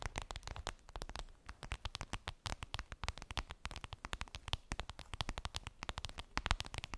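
Long acrylic nails tap rapidly on a clear vinyl zip makeup bag with a daisy print, which appears empty. A dense, fast stream of short, crisp clicks and taps plays throughout, each dying away almost instantly with a dull low thump beneath.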